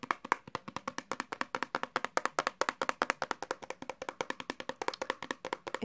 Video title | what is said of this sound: ! Fast Tapping & just being nasty funny / tingly | Right, so the first thing I've got to tap on is this hairbrush.